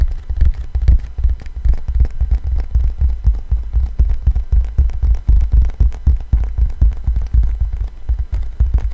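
Fingertips with slightly long nails tap the grooved surface of a thin, solid black 12-inch vinyl LP with a paper label, held in both hands close to the microphone. The result is a dense, irregular stream of soft, deep thumps, each with a faint, bright tick from the nails, that die away almost instantly.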